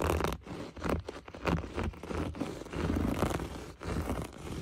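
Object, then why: Looped-pile berber carpet. A bare hand with short nails scratches and rubs its fingertips over the rough loops of a beige, flecked, looped-pile berber carpet on a floor, a large, flat, soft surface. The result is a dense, continuous scratchy rustle, heavy in the low end with a soft, dull top, that swells and dips in uneven bursts as the nails drag across the pile.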